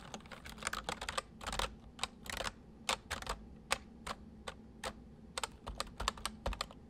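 Fingertips of both hands type fast on a white full-size plastic MSI mechanical keyboard with hollow keycaps, resting on a wooden desk. The result is a steady run of short, sharp, bright key clicks in quick bursts, each dying away almost instantly, over a faint low steady hum.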